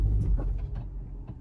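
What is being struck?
Nothing is struck.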